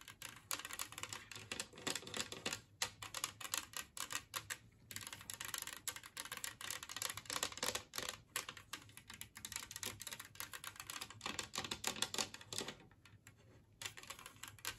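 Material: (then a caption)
Ceramic. Long nails tap rapidly across a large, flat, green glazed ceramic Christmas-tree-shaped plate, empty and resting on a wooden table, and scratch along its near edge. The result is a dense, quiet stream of bright, crisp clicks and scrapes with almost no ring, broken by brief pauses.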